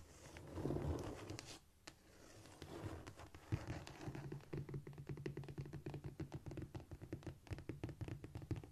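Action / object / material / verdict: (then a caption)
scrape / cork floor surface / cork / none. Long nails scratch quickly across a flat, solid cork floor, making dull, low scratching and scurrying with quick soft taps. A brief swell of rubbing comes early, then a dense run of rapid short strokes continues steadily to the end.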